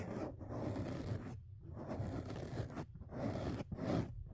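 Fingertips and nails scratch and rub two soft, porous black foam windscreen covers fitted over the mic capsules of a dual-microphone phone rig on a tripod. The result is a close, dense, low-heavy rustling scrape that swells and fades in several bursts with short quiet gaps between them.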